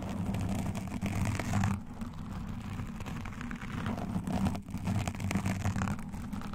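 Both hands scratch a black foam windscreen on a microphone with long nails and metal claw rings. The result is a continuous, dense, bass-heavy rumbling scratch with a muffled hum around the low mids. The texture briefly thins and softens near two and four and a half seconds before picking back up.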